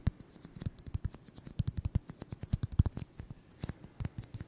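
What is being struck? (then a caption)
Styrofoam ball. A solid white styrofoam ball about 8 cm across is held in the hands and tapped and scratched with fingertips and short nails. About thirty quick, dry taps land in an uneven rhythm, each a soft low thump with a crisp, bright click on top that dies away almost at once.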